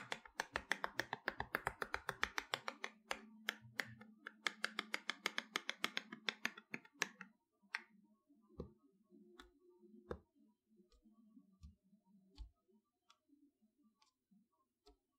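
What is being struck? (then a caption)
Cardboard box. Long fingernails tap quickly on the back of a large, flat toy box made of plain brown cardboard with a printed label strip. Dense, dry, bright clicks with almost no ring fill the first seven seconds over a faint low hum. The tapping then thins out to scattered single taps.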